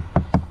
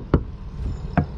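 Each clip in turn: First: solid (not hollow) laminated camper side wall. Second: solid (not hollow) laminated fiberglass camper wall.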